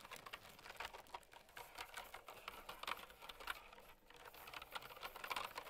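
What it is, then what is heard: Clicky plastic mechanical keyboard. A mint and white plastic typewriter-style mechanical keyboard with round retro keycaps, resting on a fur rug, is typed on by long-nailed fingertips. The result is a steady, quiet run of bright, clicky switch presses with crisp, short-lived clacks and no low thump.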